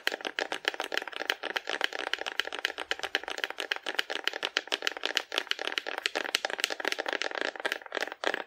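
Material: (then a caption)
Cardboard. Long nails tap rapidly across the body of a hollow painted cardboard dinosaur held sideways in both hands. The result is a dense run of dry, crisp clicks with a bright, papery tone, no low end and no ring after each tap.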